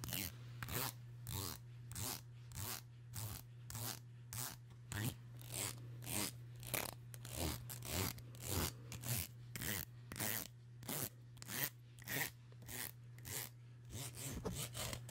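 Long nails strum and scrape along the teeth of a solid black plastic comb held up in one hand. The result is a steady run of quick, bright, raspy zips repeating at a brisk, fairly even pace over a constant low hum.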